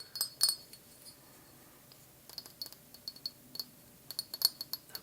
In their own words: This is like a little potion measuring glass jar.